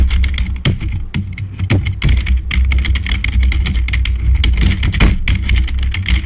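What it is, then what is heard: Plastic membrane keyboard. Fingertips of both hands type fast on a black full-size plastic membrane keyboard, giving a dense, rapid stream of short, bright clicks and taps. A steady low hum runs underneath throughout.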